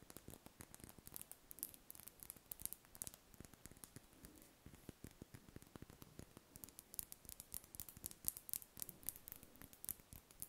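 Long red nails scratch and tap across a large, solid, cream-coloured spherical wax candle held in the hands. The result is a quiet, steady stream of rapid, dry, bright scratching clicks with very short decays and a faint low rustle underneath throughout.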